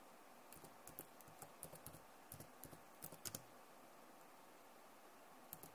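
Both hands type fast with long nails on a backlit plastic laptop keyboard. Twelve short, dry clicks come in uneven bursts over a quiet hiss, each with a bright tick and a soft low thump.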